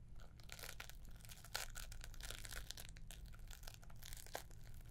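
A green-wrapped gift box with a gold bow is scratched and tapped with long nails. Dense, bright papery scratching and crinkling runs throughout, with sharp taps standing out over a steady low hum.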